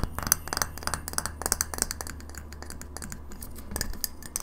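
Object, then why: Glass light bulb. Long fingernails tap quickly on a hand-sized, hollow, frosted white glass light bulb with a metal screw base, held between both hands. The taps come as rapid, irregular, bright clicks that stop almost instantly, over a steady low hum.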